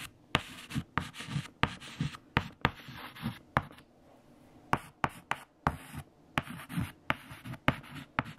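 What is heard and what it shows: A hand holds a white stick of chalk against a large, flat black chalkboard covered in multiplication tables and writes, scraping the chalk across the surface. About fifteen sharp, bright taps mark the chalk striking the board, with short, low scratchy strokes in between and brief pauses.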